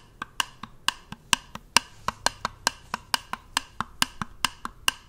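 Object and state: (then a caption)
Plastic jar tapped. A small, round, white plastic cosmetic-style jar or lid, closed and hollow, is held in one hand and tapped with the fingers of the other hand close to the microphone. About 20 sharp, bright, hollow clicks with a woodblock-like tone near 950 Hz come in an uneven rhythm, each dying away almost instantly.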